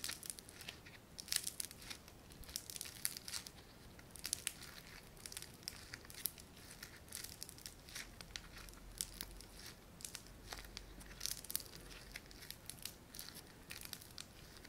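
A small, solid lump of light blue foam-bead clay (floam) is squeezed and kneaded between thumbs and fingertips. It gives a quiet, steady stream of dense crackling and crinkling, with bright, sharp pops scattered throughout and very little low end.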